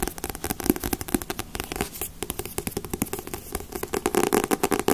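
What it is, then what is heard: Paperback comic book. A thick Dragon Ball Z paperback comic, larger than the volumes stacked above it and solid with a glossy paper cover, is held in both hands while long nails tap and scratch across its cover. A quick, uneven run of dozens of dry, clicky taps is heard, each dying away almost instantly, with a hollow midrange body and a bright, papery scratch between them.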